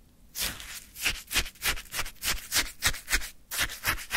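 A wooden stick repeatedly scrapes and scoops icy frozen orange sherbet in a small paper cup. The strokes come about three times a second as crunchy, bright, icy scraping bursts with a soft low thump under each.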